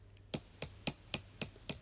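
Two knock-off Harry Potter replica wands, made of resin throughout with no metal core, are tapped against each other six times at a steady pace. Each tap is a sharp, bright click with almost no ring. The wands sound quite hollow.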